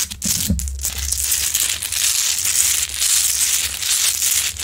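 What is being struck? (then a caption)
Rock-salt lamp. Long nails scratch across the grainy crystalline surface of a large, solid rock-salt Himalayan salt lamp, heard close up. The result is a dense, continuous, bright scratching hiss with slight rhythmic swells. A low rumble runs underneath, with a brief deeper sweep near the start.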